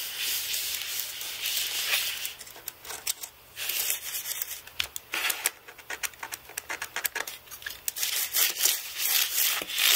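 A black carbon brush is rubbed and swept over the key rows of a white aluminium-framed computer keyboard with plastic keys. It makes a bright, hissy bristle scratching with almost no low end, starting as long sweeps and then breaking into quick, choppy strokes that grow louder toward the end.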